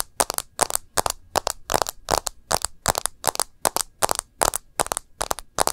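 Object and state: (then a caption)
Smartphone in plastic case, tapped with nails. A smartphone in a rose-gold edged plastic case, held sideways, is tapped and scratched along the case edge and screen by long nails. The result is a quick series of sharp, dry clicks with bright, crackly scraping between them, each dying away almost instantly.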